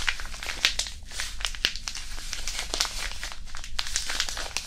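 A small white disposable hand warmer, a non-woven fabric pouch filled with iron powder, is squeezed and crumpled between interlaced fingers above the mic. It makes a steady run of dry, gritty crinkles with sharp, bright crackles over a soft low rumble. Each crackle fades almost at once.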